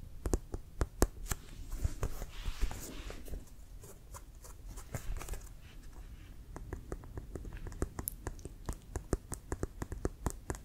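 A full-size, inflated, hollow brown composite-leather CFL football with a white stripe is held in the hands and tapped with fingertips and nails. Many quick, dry taps and sharp nail clicks sound over a low, hollow thump, with a brief scratchy rustle early on. Each tap stops almost instantly.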